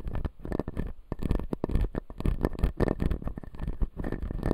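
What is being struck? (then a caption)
Acrylic dental model with resin teeth. A clear acrylic dental model with resin teeth, held in both hands, is scratched along its upper teeth with fingertips and nails. The result is a dense run of short, dry scratches and clicks over a low, muffled rumble.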